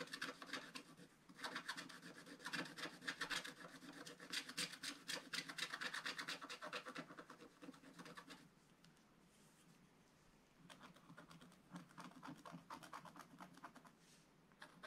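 A wooden stylus files and scratches the black coating off a scratch-art paper page, making dense, rapid rasping strokes with a bright, papery edge. The scratching comes in busy bursts, fades to a near-silent pause around 8.5–10.5 seconds, then resumes in quicker, lighter scrapes.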